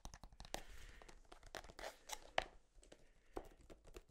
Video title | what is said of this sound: ASMR Tapping On EVERYTHING | never really thought about the material that tubes of toothpaste are made of but like this thick plastic it's kind of unique